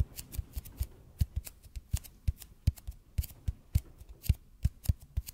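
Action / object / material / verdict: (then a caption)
tap / bead foam roller / EPP foam / none. Fingertips tap and scratch quickly on a large, hollow red-and-white EPP bead foam roller held in front of a microphone. About two dozen short, dull low thumps with bright, crisp clicky edges come in an uneven rhythm, each dying away almost instantly, with soft scratching between them.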